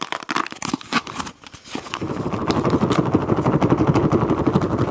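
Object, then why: Plastic food container filled with water beads. Long acrylic nails tap and scratch a small clear rectangular plastic food container with a blue lid, filled with teal water beads. Scattered sharp, bright clicks and taps come first, then settle into a dense, steady rattling scratch with a fuller, lower body that continues to the end.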